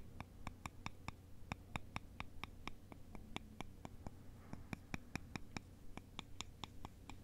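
Two thin, long, solid wooden sticks, held by the fingertips, are crossed and scraped and tapped against each other. About 29 short, dry clicks follow one another at a steady pace, each with a bright, resonant ring that dies away almost at once. A faint, steady low hum sits underneath.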